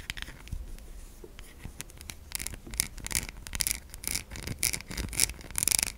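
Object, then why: Bar of soap. Long nails scratch and scrape the top and edge of a solid white bar of soap held in the hand. Crisp, bright scratching bursts start quietly and grow louder and denser toward the end, each stopping dry with no ring.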